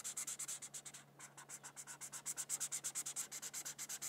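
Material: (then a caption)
Paper. A felt-tip marker scratches and rubs back and forth on a thin white paper coloring sheet resting on a book while coloring petals red. About 34 quick, bright, high scratchy strokes are heard in a steady rhythm, with a brief softer pause near the one-second mark.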